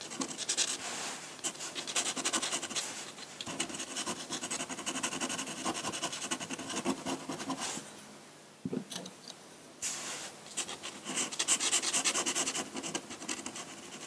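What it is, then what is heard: Pen nib scratching on drawing paper. A metal dip pen nib scratches ink strokes onto a large flat sheet of white drawing paper. Bright, dry scratching comes in quick, irregular strokes, with a quieter stretch near the middle before the scratching resumes.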